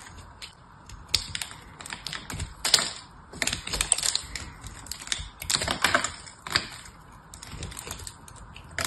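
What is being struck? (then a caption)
Painted soap bar carved with a small metal knife. A small metal knife carves and scrapes flakes from a solid, hand-sized bar of soap painted silver, held in one hand with yellow-painted nails. Crisp, bright scraping and cutting strokes come in irregular bursts of short, dry clicks with little low end, as flakes peel off the surface.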